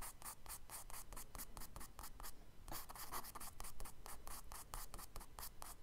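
A charcoal stick makes fast scratching strokes across a tan kraft paper sketchbook page lying flat on a table, drawing tree branches. The scratches come as a quick, steady run of dry, papery bursts with a bright, hissy edge over a low rumble, with a brief pause midway before the strokes resume.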